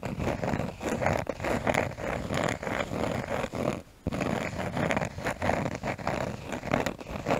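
A cork surface is tapped and scratched close to a microphone, giving dense, dry scratching with quick irregular taps that have almost no ring. The sound centers in the low-mids, with little high brightness. It pauses briefly just before the halfway point, then resumes.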